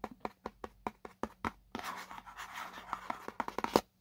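Fingernails scratch across the printed white spec label on the side of a small, hollow paperboard box held in both hands. A quick run of short, dry ticks gives way to a continuous papery scratching, then more scattered sharp strokes with a brief hollow ring.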